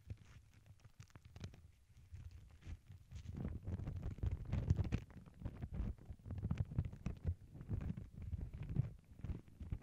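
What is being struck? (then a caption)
Thin tissue paper sheet. Long glittery nails and fingertips rub, lift and scratch a thin white tissue paper sheet printed with black paw prints, which lies over earbud mics on a cork board. The result is a dense, muffled, low crinkling and rustling, with a deep rumble underneath and quick crackly scratches. It starts soft and grows fuller and louder after about three seconds.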